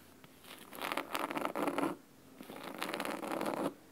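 Fingernails scratch quickly on the cloth spine and top edge of a large, thick, solid red fabric-covered hardcover book. Two bursts of rapid, crisp, bright scratching are heard, separated by a short quiet pause, with a dry rasping texture and no ring.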